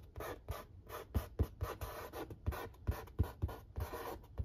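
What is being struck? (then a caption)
Corrugated cardboard pizza box lid. Fingertips and short nails trace and scratch the printed lettering on the lid of a large, flat corrugated cardboard pizza box. The result is a quick series of dry, papery scratching strokes, each with a soft, low, hollow thump from the lid. The strokes stop short with no ringing.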